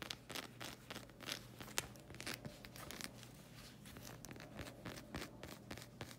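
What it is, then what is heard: Rubber sandal sole. Long red acrylic nails scratch the solid black sole of a rubber slide sandal in quick, dry strokes. Bright rasping scrapes and soft clicky taps come and go over a faint, steady low hum.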